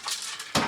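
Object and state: Toy robot with a loose part rattling inside.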